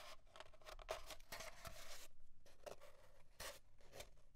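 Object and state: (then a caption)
Empty cardboard tube. Fingernails scratch and rub along the surface of an empty, hollow, long cardboard paper towel tube with small bits of paper residue still stuck to it, and the tube is briefly lifted. Quiet, dry, bright scratching bursts come in an uneven, rapid rhythm over a hollow tone near 650 Hz, with short pauses between strokes.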